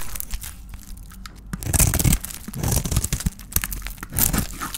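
A solid oval bar of dry white soap with a red painted shell, held in the hand, is scraped with a metal blade that cuts soap curls. Dry, crunchy scraping and crinkling swells in several strokes, each with a rough rasp and bright crackle over a low body. The peeled curls break away with brittle, tearing crunches.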